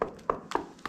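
Tapping on the lime render of a cave ceiling arch gives a series of quick, dry taps with a hollow, mid-pitched tone that dies away almost at once. The hollow sound shows another spot where the render is not solid.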